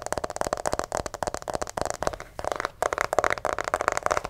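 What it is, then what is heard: Plastic figure scratched and tapped. Fingernails scratch and grip the head and torso of a white plastic acupuncture doll held close to the microphone. The result is a dense run of quick, dry scratches and taps with a hollow plastic mid tone, broken by a brief pause partway through.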